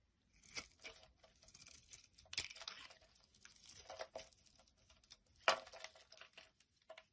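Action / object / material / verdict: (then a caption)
scrape / bar of soap / soap / none. A utility knife blade carves long curls and shavings off a solid orange bar of soap held in the hand. Each stroke makes a crisp, bright scraping and tearing rasp, with a few sharper crackling cuts. There are short quiet gaps between the strokes.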